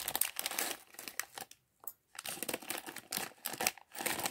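A small, clear, thin plastic bag partly full of loose LEGO plastic bricks is held in both hands while fingertips crinkle and rub it. Dense, bright crinkling rustles come in bursts, with a near-silent pause around the middle, and the bricks inside may shift.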